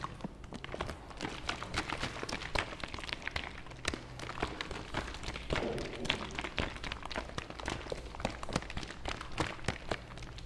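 A medium plastic fabric softener bottle is held up in one hand while fingers tap rapidly on its hollow plastic sides. The result is a steady stream of quick, short, bright taps and soft thuds with very little ring, over a faint low hum.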